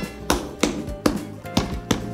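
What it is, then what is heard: Unripe durian. An unripe durian fruit is knocked with several sharp, short taps. Each knock gives a dull, dense, moist-sounding thud with more low than high frequencies, marking the fruit as not ripe.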